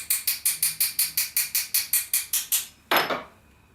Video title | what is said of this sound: Two: Cutting Glass - Stained Glass Leaded Window Making Techniques | that crack has spread through and I can encourage that to follow along the score line just tapping it lightly on the back you can hear in the tone